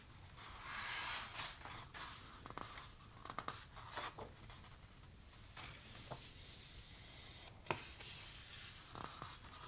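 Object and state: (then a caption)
Paper photo book, pages turned and rubbed. Hands turn the coated paper pages of a large, thick softcover photo book and rub their fingertips over them. Quiet, bright rustling and brushing friction is broken by brief, sharp page flicks and snaps.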